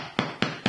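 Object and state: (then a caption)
Baked bread loaf sounding hollow (cooked through). Three light taps on the upturned bottom of a loaf of bread give short, hollow knocks with a low thud around 230 Hz. The hollow sound shows the bread is baked through.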